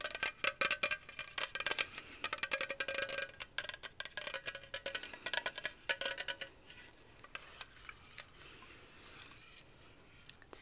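A small, hollow aluminum Sunkist Zero Sugar soda can, likely full, is held in both hands and tapped and scratched with long fingernails. Quick, bright metallic clicks with a faint short ring come in rapid bursts. They then thin out into softer, scratchy strokes toward the end.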